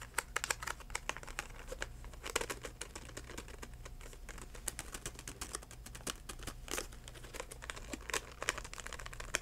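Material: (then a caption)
Plastic. A DenTek plastic and cardboard blister package, held upright, is tapped rapidly with the fingertips. The result is a dense run of short, crinkly plastic clicks and taps with a few louder knocks, over a steady low hum.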